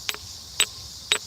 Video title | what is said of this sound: Enormous Geodes Discovered Deep Underground | When you hit a geode that's quartz, you hear a very tinny sound.